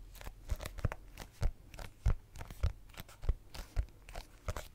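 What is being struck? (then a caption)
Hardcover notebook. Fingertips and nails tap and scratch the cover of a small red hardcover notebook held upright in front of a microphone. Irregular, dull, low thumps mix with faint, bright scratchy rustles. Each tap is short and dry, with no ring.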